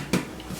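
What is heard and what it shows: A cooled homemade Italian dipping bread loaf is tapped to check it: a short, dull, hollow knock with a low body and a quick fade, then a second, softer tap about 0.4 seconds later. The hollow sound shows the loaf is baked through and done.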